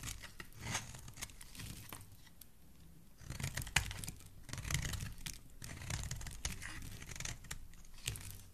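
A metal utility blade scrapes the corner and edges of a solid, pink rectangular bar of soap held in the hand, curling off shavings. Quiet, crisp scraping and crinkly tearing strokes come in uneven bursts, with a bright hiss over a low rumble and a few sharper clicks.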